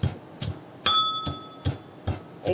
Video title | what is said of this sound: वांगी आणि बोंबलाची ही गावरान रेसिपी पाहिल्यानंतर तोंडाला पाणी सुटेल- जुन्या आठवणी Old Memories | बघा कसा कुरकुरीत आवाज येतो